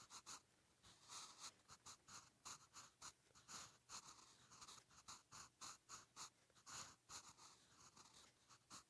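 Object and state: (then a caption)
Pencil writing on a notebook page. A soft graphite pencil tip writes cursive Hangul on a lined page of a spiral notebook lying flat. It makes quiet, bright scratching in a rapid series of short strokes, with brief pauses between them.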